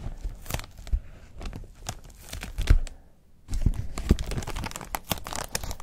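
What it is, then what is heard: Foam wrap sheet being crumpled. Fingertips crinkle, rub and crumple a thin, flexible, hollow-folded white textured protective wrap sheet of foam or nonwoven material over a wooden desk. Dense, dry crackles and soft tearing-like rustles come in quick bursts, with a few deeper thumps. There is a brief quiet pause near the middle before the crumpling resumes more steadily.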